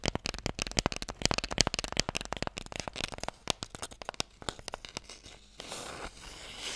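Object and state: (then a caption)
Wooden Mikado box. A light, hollow wooden Mikado box held in both hands is tapped quickly with fingernails, making a dense run of about 31 sharp, dry, bright clicks that fade quickly. The taps thin out toward the end and give way to a steady, bright, rustling noise.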